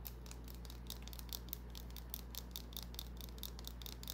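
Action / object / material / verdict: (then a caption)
scrape / small bar of soap / soap / none. Long nails scratch and tap a small, solid white bar of soap, with shavings resting on the palm. Quick, bright, crisp scratches and light taps come in an uneven rhythm over a steady low hum. The clicks are soft and short, dying away almost at once.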